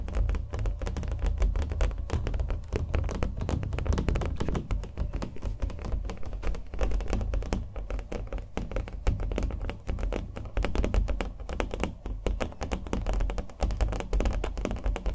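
A small stretched canvas with thick impasto acrylic paint over a hollow frame is held in the hand and tapped with fingernails across its front and edges. The result is a steady stream of fast, dense taps with short, dull, hollow thuds weighted heavily in the low end and almost no brightness.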